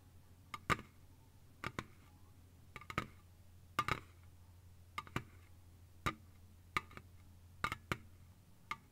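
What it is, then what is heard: Aluminium drink can. A slim Lipton green ice tea aluminium can lies on its side on a soft blanket and is tapped quickly with long fingernails. Short, sharp clicking taps come in quick bursts and uneven clusters, each with a brief bright metallic ping near 1.2 kHz. The taps die away almost at once over a steady low hum.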